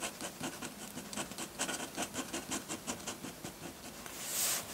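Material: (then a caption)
Paper. A metal dip pen nib scratches dense hatching onto a flat sheet of white drawing paper, making quick, bright, raspy strokes in a rapid rhythm. A longer, louder swell of scratchy hiss comes near the end.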